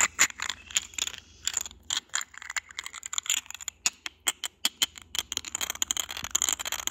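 Short nails and fingertips tap and scratch the textured surface of a small, hollow, cylindrical white glass vase with a grey geometric pattern. The result is a rapid, irregular run of dozens of bright, dry clicks and ticks, with light scratchy rasps between them. Each click cuts off almost at once, leaving a faint high glassy ping.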